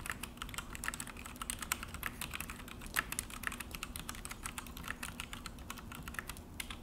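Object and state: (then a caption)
Plastic mechanical keyboard being typed on. Both hands type with their fingertips on a full-size Akko mechanical keyboard with an orange plastic case and black plastic HyperX keycaps, resting on a desk. It makes a fast, steady run of short, bright plastic clacks that die away almost instantly, with an occasional louder press over a low, constant background rumble.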